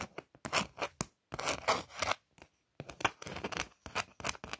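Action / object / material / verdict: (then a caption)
scrape / thin card stock greeting card / card stock / none. Long nails trace and scratch the lettering on a glittery printed Eid greeting card made of thin card stock. The result is a run of short, dry, bright scratching strokes with almost no low end, broken up by brief silent pauses.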